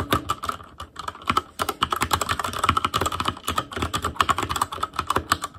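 Fingertips of both hands type rapidly on a full-size ASUS ROG Claymore Core mechanical keyboard with plastic keycaps on Cherry MX Red switches, a metal plate, a hollow case and RGB backlight. A dense stream of short, crisp plastic key taps with a clacky ring near 1.1 kHz and a bright top end, each tap dying away almost instantly.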